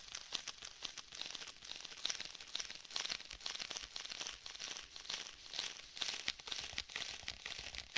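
Fingertips tap, rub and press on a rigid black stitched faux leather tablet case held in both hands. Many quick, dry crackling taps with a sticky, crinkly texture are heard, mostly bright and high with almost no low end and no ringing.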